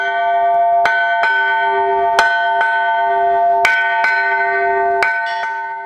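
A metal bell whose crack has been bonded with a chemical repair is struck repeatedly to test its sound, giving bright, sustained ringing tones with long-decaying overtones that overlap between strikes. The repair held and the bell's sound is restored, excellent again.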